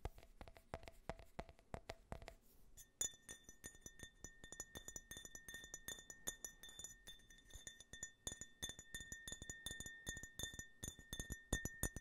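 An empty, small hollow glass tumbler printed with an American flag design is held near the microphone and tapped rapidly with fingernails, giving dozens of quick, bright clinks and ticks. For the first few seconds the taps carry a faint mid-pitched ring. After that each tap sets off a steady glassy ringing tone near 1.8 kHz, with higher bright overtones that linger beneath the continuing clicks.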